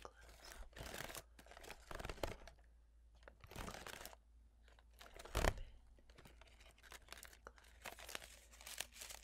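A blue folding fan with wooden sticks and a paper leaf is fanned open and snapped closed between both hands, with nail-tipped fingers handling the pleated leaf. Quick bursts of crisp, tearing-like paper rustle and crinkle come with sharp wooden clacks, the loudest snap landing about midway through. The sound is quiet and close, with a steady low hum underneath.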